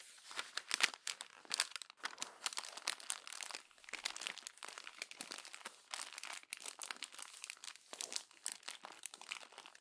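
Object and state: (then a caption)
Glossy magazine paper being crumpled. Hands with long pink nails crumple the pages of an open glossy paper magazine lying flat, pressing them into a pile of crinkled sheets. The dense, crackling crinkles come in quick overlapping bursts for about ten seconds, bright and papery with almost no low end.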